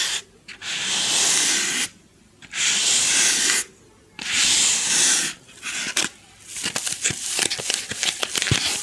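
Long glossy nails rub a white styrofoam packing insert with a rectangular recess, held close to the microphone. Three long, bright, hissing rubbing strokes are separated by short pauses, followed by a burst of quicker, choppy scratches and squeaky taps with almost no low end.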